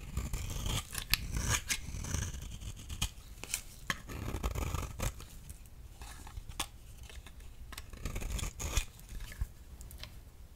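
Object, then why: Bar of soap shaved with a blade. A partly worn, solid magenta soap bar is held in hand and shaved with a utility knife blade, building a pile of shavings below. Repeated crisp scraping strokes with sharp, dry clicks and a bright edge sit over a soft low rustle, each stroke stopping short with almost no ring.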